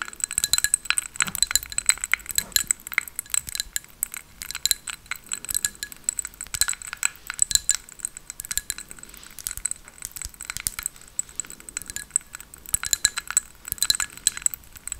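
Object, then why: Glass drinking tumbler. A small hollow drinking glass decorated with a white flower print, apparently holding some liquid, is held in both hands and tapped with long acrylic nails. Rapid, bright clinks and ticks follow one another continuously, each dying away almost instantly. There is little low-end body and no steady ring.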